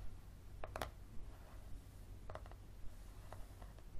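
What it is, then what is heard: Paperback book with card cover. Fingernails tap and scratch the spine of a yellow paperback book with a card cover, held in both hands. Short, dry, quiet taps and soft scratchy rustles come in small, loose clusters over a steady low hum. Each tap dies away almost at once.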